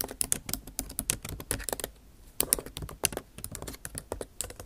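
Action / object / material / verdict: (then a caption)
tap / laptop keyboard with plastic keys in an aluminium body / plastic / none. Rapid typing with long nail tips on a backlit MacBook Pro keyboard with plastic keycaps in an aluminum body. Dense, bright, clicky taps run almost nonstop, with a brief pause near the middle. Each tap is short and dry, with very little ring.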